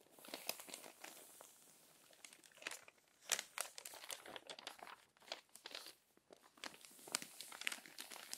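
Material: Paper.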